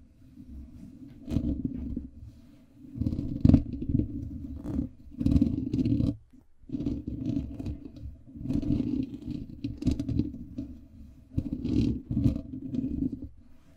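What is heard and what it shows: Fingertips of both hands continuously scratch and rub the black foam windscreen covering a microphone. The result is a dense, muffled, low scratching rustle that swells and fades in waves, with brief pauses between bursts.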